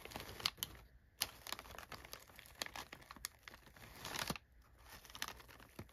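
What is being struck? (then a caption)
Crumpled kraft paper packing fill. Fingers press down on and rub crumpled brown kraft packing paper filling an open box, producing bright, dry crinkling and crackling. Irregular sharp crackles come in bursts with brief quiet gaps. A denser rustling swell builds just before the sound drops off.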